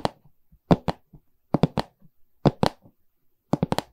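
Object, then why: Pine canvas stretcher frame. Long red nails tap the wooden side bar of a medium, hollow pine stretcher frame with a canvas back. Sharp, dry knocks arrive in small irregular clusters of two to four, each with a hollow low body and almost no ring.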